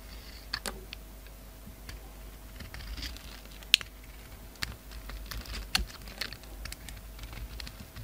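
A utility knife blade slices and scrapes the surface of a solid oval bar of black soap with a red outer coating, held in the palm. Quiet, irregular crisp clicks and short scraping ticks stand out over a soft, bright hiss. Each snap dies away almost instantly.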